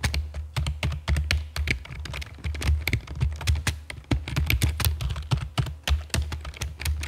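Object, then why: Plastic computer keyboard. Long fake nails and fingertips type rapidly on the keys of a full-size black plastic computer keyboard with a hollow body and keycaps resting on a stone table. The dense, uneven run of short, sharp clicks and chunky taps has bright edges and dies away almost instantly, over a steady low hum.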